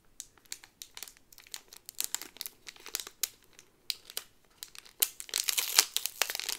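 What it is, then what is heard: Plastic sleeve on a cardboard pin card. A Thunder Mountain pin on a green-yellow cardboard card inside a clear plastic bag is handled, with fingers and nails crinkling the plastic sleeve and the card flipped over. Short, bright, dry crinkles and taps come in an uneven stream. They build into a denser, louder rustle near the end.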